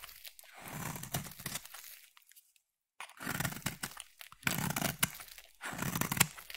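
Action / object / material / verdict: scrape / solid bar of soap / soap / none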